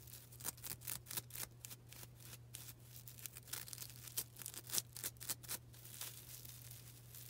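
A small, soft, porous yellow-green foam sponge is held in both hands and scratched and squeezed with long black nails. Quick, dry, bright scratchy crackles come in an uneven run of short bursts, each dying away almost at once. The scratching stays quiet over a steady low hum.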